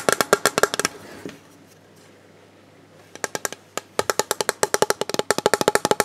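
Fingertips tap the underside of a hollow, rigid, clear plastic storage box with a moulded recycling mark, held in both hands. About 30 short, dry, hollow taps with a knock-like tone near 414 Hz come in quick runs. A burst at the start is followed by a quiet pause of nearly two seconds, then the tapping resumes faster and denser.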